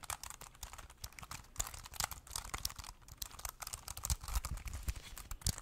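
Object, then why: Plastic keyboard. A small, thin, hollow black plastic Bluetooth keyboard is held in both hands while fingertips and thumbs rapidly press and tap its keys as if typing. The result is a dense stream of short, dry plastic clicks with bright, crisp attacks and a soft low thump beneath them.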